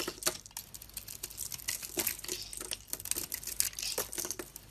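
A box-cutter blade scrapes and shaves curls off the pink face of a solid oval bar of soap with a silver-and-blue painted coating, held in the hand. A quick run of crisp, bright, crinkly scraping strokes follows, each short and dry with almost no low end.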